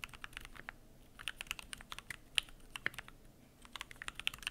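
Fingertips type continuously on a Keychron Q1 aluminum mechanical keyboard with PBT plastic keycaps, producing about 25 crisp, bright keystroke clicks with little low end. Each click cuts off almost instantly, with a brief lull before the typing picks up again.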